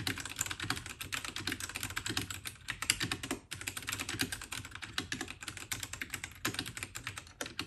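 Both hands type continuously with fingertips on a compact white 68-key RK68 (RK855) mechanical keyboard with plastic keycaps, a plastic case and brown switches, resting on a desk. A steady stream of quick, bright, clacky keystrokes with short decay is heard, dipping briefly around the 3.5-second mark before resuming.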